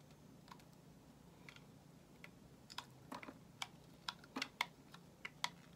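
A solid white bar of soap held in the hand is shaved with a metal utility knife blade, making about fifteen short, crisp, bright scraping clicks at an uneven pace. Each click is dry and dies away almost instantly over a quiet, low steady hum.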